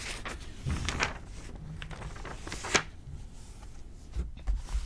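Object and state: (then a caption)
Glossy paper magazine. A page of an open glossy paper magazine lying on a table is flipped, then fingertips press and rub it flat. Soft papery rustles and brief bright swishes mix with a few low, dull thumps against the table, the sharpest crisp snap coming midway through.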